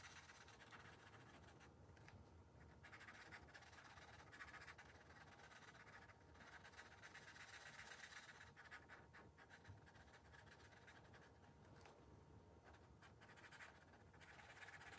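A blue marker's felt tip strokes and scratches across the thin paper page of a spiral-bound coloring book while coloring. The result is a steady, quiet, dry scratching hiss with a bright, papery texture that swells and thins as the strokes change, continuing without clear breaks.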